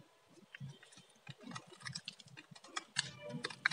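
A metal utility blade scrapes and shaves the surface of a solid orange bar of dry soap held in the hand. Quiet, irregular dry scratching and crisp crackling ticks come in short bursts, bright and clicky with little low end, and a few sharper snaps stand out near the end.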